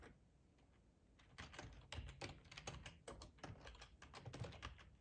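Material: Plastic.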